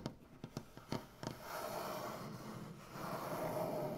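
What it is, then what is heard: Maple butcher block tabletop, solid wood. Clawed fingers with black nails tap rapidly on a solid maple butcher block tabletop, giving five quick, dull wooden knocks. These give way to a steady, soft scratching and rubbing across the wood surface that fills the rest of the clip.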